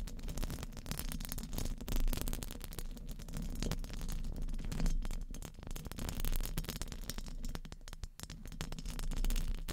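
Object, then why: Steel mesh microphone grille. Very long painted nails tap and scratch across the hollow, rounded steel mesh grille of a condenser microphone. The result is a continuous stream of rapid clicking and scraping over a deep, boomy low-frequency rumble, with no clear pauses between strokes.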